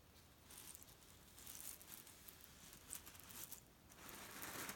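Fingertips scratch and tap along the edge and surface of a flat grey leaf-print cotton pillow filled with cherry stones, resting on a bed. The quiet, dry crinkling and rustling is scattered with brief bright clicks as the stones shift under the fabric.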